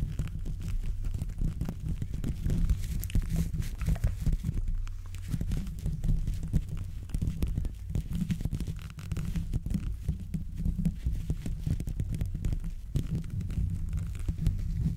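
Rubber-coated gloved fingertips scratch and rub all over the hollow metal mesh grille of a silver condenser microphone. The result is a steady, dense stream of deep, muffled scraping and thumping, almost entirely low rumble around 60 Hz with only faint brighter hiss above it.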